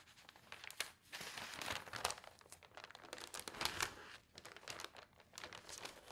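Fingernails and fingertips rub across the sheets of an open newsprint newspaper lying on a table, then lift a page to turn it. Dense, bright crinkling and papery rustles swell and fade in overlapping bursts, with almost no low end.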